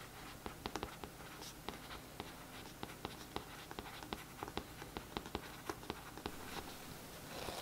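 A paintbrush tip scratches over the printed text on the back of a glossy cardboard paperback book cover lying flat. Quiet, dry scratching is broken by around twenty short, bright ticks spread across the clip over a faint low hum. A soft hiss swells slightly at the very end.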